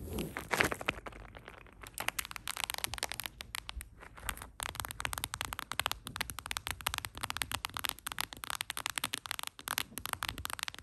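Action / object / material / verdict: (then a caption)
tap / small hollow plastic mint container / plastic / none. Long acrylic nails rapidly tap and scratch a small, round, hollow blue plastic Ice Breakers Mints container held in the hand. The result is a dense, fast stream of bright, crackly plastic clicks and scrapes with very short ring, starting with a louder burst of scratching.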